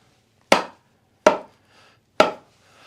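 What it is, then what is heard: Golf shaft fully seated in iron head. After epoxying the shaft into a golf iron head, the club is tapped down to seat the shaft fully. Three sharp, short taps are heard with a bright knock around 555 Hz, each fading quickly. The shaft bottoms out and sits fully seated in the iron head.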